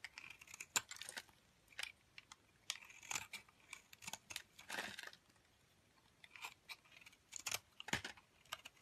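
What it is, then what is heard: Bar of soap being shaved. A metal blade shaves thin strands off the edge of an off-white, solid, rounded soap bar held in a hand with long dark nails. Quiet, bright, crisp scraping and cutting strokes come in irregular short bursts, separated by near-silent pauses.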